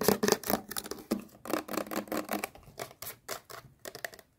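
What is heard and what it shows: Long painted nails tap and scratch a small, hollow, teal plastic sunscreen tube held in both hands. Fast, crisp clicks and scratchy rasps come in quick clusters, with a light hollow plastic tone under bright edges. Each tap dies away almost at once.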